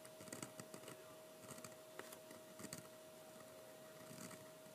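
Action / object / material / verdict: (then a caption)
scrape / thick sketching paper under a metal pen nib / paper / none. A metal-nib fountain pen writes "Happy Halloween" on thick, heavyweight sketching paper lying flat on a table and held by one hand. About nine short, quiet scratching strokes sound as the nib drags across the paper, each with a dry, bright rasp. A faint steady mid-pitched tone hums underneath.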